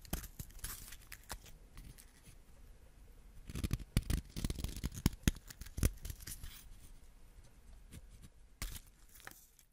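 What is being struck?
Wax crayon.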